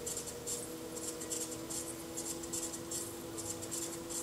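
A metal chattering tool held in the fingertips scratches and chatters against the outer surface of a small, unfired, leather-hard clay bowl, solid-walled and hollow, set upside down on a spinning pottery wheel. Bright, gritty bursts of scraping repeat in a loose rhythm over a steady low hum from the wheel's motor.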